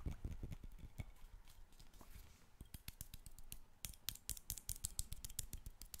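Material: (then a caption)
Glass. Fingertips and nails rapidly tap and scratch the glass body and neck of a dark glass wine bottle with a white capsule top and a label, held in both hands and looking hollow, possibly empty. About two dozen quick, dry taps stop dead with no ring: deeper thumps come first, then sharper, brighter clicks later. Soft scratching fills the gaps between them.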